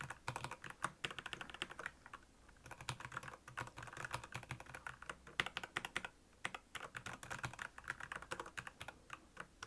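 Fingertips of both hands type on the keys of a black plastic Royal Kludge mechanical keyboard with backlit keys. The result is a fast run of crisp, bright, clicky keystrokes with a slight low thock, each dying away almost instantly, with brief pauses near 2 and 6 seconds.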